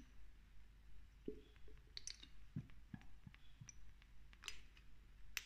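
A small amber glass dropper bottle of castor oil, partly filled with oil, is held in one hand and tapped and clicked with long nails while its dropper is lifted and clinked against the glass. About nine short, irregularly spaced clicks and taps ring out, some bright and glassy with a main pitch near 2.7 kHz, others dull and low. They sound quiet and dry over a steady low background hum.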